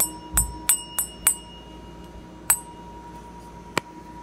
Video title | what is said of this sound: How to tell if Sterling Silver is Real Rare earth magnet Sterling Silver and gold testing | it keeps ringing so if it were silver-plated it wouldn't make that sound